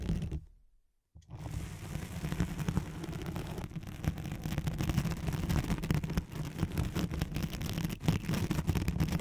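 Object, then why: Nylon hook-and-loop fastener sheet. Long nails on both hands scratch a thin white hook-side nylon hook-and-loop sheet laid over a microphone. After a short pause of near silence near the start, a dense, continuous rasping scratch builds and runs steadily to the end. The sound is heavy and muffled, with most of its energy low and a faint hum around 160 Hz.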